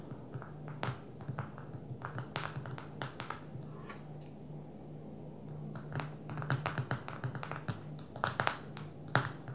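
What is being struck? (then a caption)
Smartphone with glass touchscreen. Long fingernails of both hands tap on the glass touchscreen of a small black smartphone lying flat on a table. The result is a quiet, irregular patter of short, sharp clicks with a little bright edge, some landing in quick bursts, over a steady low hum.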